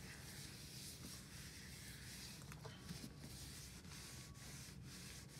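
A small white hollow plastic aroma diffuser is lifted and rubbed all over with a white wipe by gloved hands. The result is a steady, quiet rubbing and scuffing with a bright hiss over a low rumble, holding an even level throughout the clip with a few faint squeaks.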